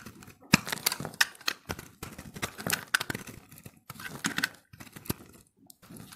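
A utility-knife blade shaves and scrapes thin layers off the surface of a solid, hand-held recycled soap ball made of pressed, multicolored dry soap. The result is a run of short, dry, crackly scraping strokes with bright, crisp edges and a few sharper snaps, separated by brief pauses.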